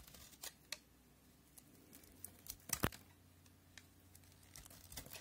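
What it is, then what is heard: Bar of soap being scraped with a blade. A solid cream soap bar stamped NC is held in the hand and scored and shaved with a utility knife blade. Short, dry scraping and cutting ticks come at irregular intervals over a faint low hum, with the loudest, brightest cut near the middle. Each stroke stops abruptly, with no ringing.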